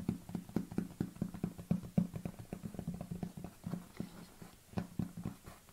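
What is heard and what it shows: Long nails tap a large, hollow white plastic protein tub lying on its side, first along its body and then across its ridged lid. The taps come fast and unevenly, each a dry, low, hollow knock with a short resonant thump that dies away almost at once.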